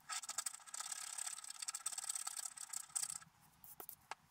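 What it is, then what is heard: Scratch-art paper card being scratched. A wooden stylus scratches details into a black-coated scratch-art paper card held flat. A dense, bright, rasping scratch runs for about three seconds, then stops. Two short, sharp strokes follow in the quiet.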